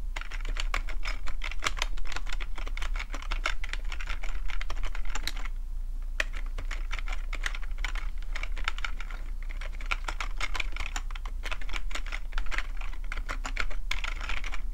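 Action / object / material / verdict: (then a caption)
tap / plastic computer keyboard / plastic / none. Fingertips type quickly on a full-size black plastic computer keyboard with a hollow plastic body, making a dense stream of short, bright clicking taps with a brief pause near the middle. A steady low hum sits underneath the whole time.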